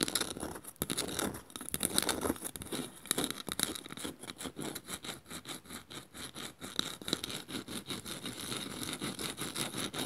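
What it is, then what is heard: Woven bamboo bowl. Long nails scratch the woven underside of a small, hollow woven bamboo bowl held upside down. The result is a steady run of quick, dry, bright scratching strokes with a rough, rhythmic texture and little low end.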